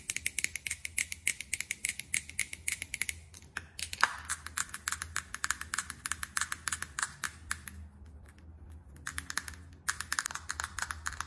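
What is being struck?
Plastic makeup compact tapped with fingernails.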